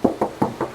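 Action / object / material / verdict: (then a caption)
knock / car hood, steel sheet / steel / original. Four short knocks on the steel hood of a silver 2021 Toyota Calya give a dry, hollow metallic tap with very little ring. The sound indicates the original metal panel with no filler.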